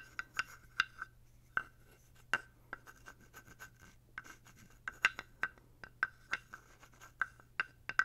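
A small, dark, solid carved wooden toad figurine with a ridged back, guiro-style, is held in the hand near the mic and scraped along its ridges with a thin wooden stick. The result is a quiet series of short, dry ratcheting clicks and rasps, each with a brief woody tone around 1.5 kHz and a bright edge. A steady low hum runs underneath.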